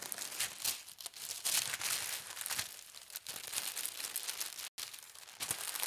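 A large, thin, translucent white tissue paper sheet printed with pink hearts lies spread on a table while fingertips with long red nails smooth and rub across it. It makes a steady stream of bright, papery crinkling with fluttering bursts and a brief silent gap near the end.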